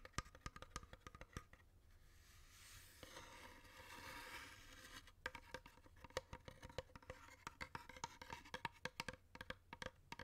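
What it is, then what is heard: Wooden incense box. A long, hollow, dark wooden incense box with painted mandala decoration is held in the hand and tapped on its lid and side with fingertips and nails. Quick, dry, woody taps with a hollow tone near 516 Hz die away almost instantly. Midway, the tapping eases into a soft, breathy hiss before brisk tapping resumes.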